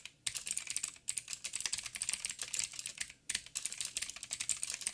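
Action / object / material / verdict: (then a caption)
tap / plastic mechanical keyboard with clicky switches / plastic / none. Fingertips of both hands type on a backlit 87-key mechanical keyboard with plastic keycaps and clicky blue switches. The result is rapid, bright, sharp clicks in quick bursts, with short pauses near one second and just past three seconds. Each click dies away almost instantly and carries almost no low end.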